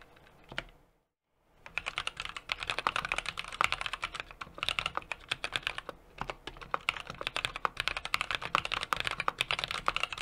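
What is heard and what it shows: A small 60% mechanical keyboard with an aluminum case, brass plate and plastic cherry-profile keycaps sits on a desk while both hands type continuously with their fingertips. After a single keystroke and a brief pause of silence, rapid, bright, clacky keystrokes follow in a steady stream. Each key press is short and sharp, with no lingering ring.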